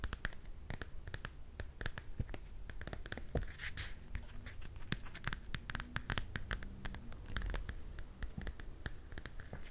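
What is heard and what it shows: Long dark-painted nails scratch and tap the glossy card cover of a Frozen paper coloring book held upright in both hands. A quick, steady stream of short, dry clicks and raspy scrapes rings out, each tap sharp and bright and dying away instantly over a soft low rumble.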